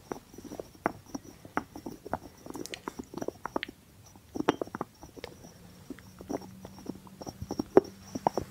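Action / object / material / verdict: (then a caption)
tap / small ceramic jar with a cork stopper / cork / none. Fingertips and nails tap and scratch the cork stopper of a small, hollow white ceramic jar with a blue rim, held in one hand. The result is a quiet, irregular stream of soft, dry, mid-pitched taps with brief scratchy rustles between them, each tap dying away almost instantly. A faint steady high tone hums underneath throughout.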